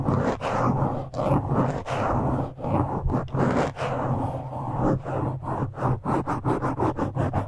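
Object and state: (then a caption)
Foam microphone windscreen being scratched. Fingertips and nails of both hands scratch and pinch a black foam windscreen on a microphone. The sound is a dense, rough, close-up scratching and crackling with a heavy low rumble, broken by brief gaps. Toward the end it turns into quicker, rhythmic bursts of squeezing.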